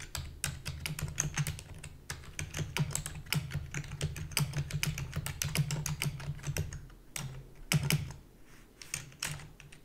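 Rapid typing with long fingernails and fingertips on a full-size black plastic keyboard with a hollow body gives a dense stream of sharp, bright clicks and clacks. A steady low hum runs underneath, and the typing briefly slows with short pauses near the end.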